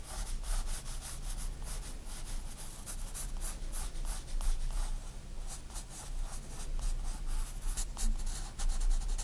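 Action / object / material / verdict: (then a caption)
scrape / graphite pencil on paper sketchbook page / paper / none. A 4B pencil rubs back and forth in shading strokes across a white paper sketchbook page lying flat. Soft, scratchy strokes repeat steadily, each a brief bright hiss over a quiet low rumble.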